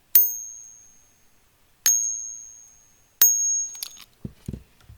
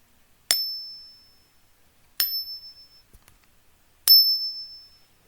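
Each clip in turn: First: Three bright, high pings that fade within about a second: a copper fake of a silver bullion coin. Second: Three bright pings, each with a clear high tone that rings on for about a second, like a genuine bullion coin.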